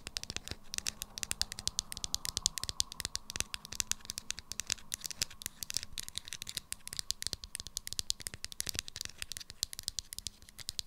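Long acrylic nails tap rapidly on a small, hollow, unwrapped Sanex roll-on deodorant bottle with a clear plastic body and pink plastic cap. The result is a quick, rattly run of dry clicks, bright and high with almost no ring, over a faint steady background.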